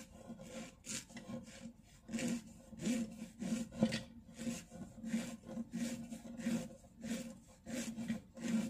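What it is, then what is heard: Plastic jump rope cord rubbed. A thin, solid, blue-and-white striped plastic-coated jump rope cord is held between fingertips and thumb, then rubbed, bent and rolled near a dark wood-grain shelf. It makes soft, uneven rasping rub strokes about every half second to second, each with a faint low tone near 220 Hz and a breathy bright hiss.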